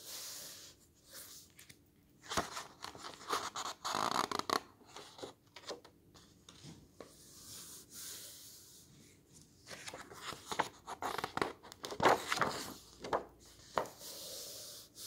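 A flat hand and fingertips rub across the glossy paper pages of a large open hardcover garden book and turn them. Soft, dry swishing and papery scratching rises and falls in the quiet, broken by sharper crinkling flicks as pages are lifted and laid over, mostly in the mid and high range with almost no low end.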